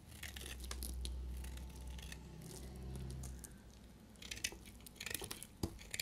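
A narrow remaining piece of a solid, dry pink-yellow bar soap is held in hand and cut and shaved with a utility blade. A low, steady hum fills the first four seconds under soft, bright scraping. It then gives way to crisp, dry crackling shaves and a few sharp snaps near the end.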